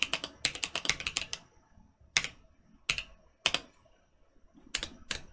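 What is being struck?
Mechanical keyboard with plastic keycaps.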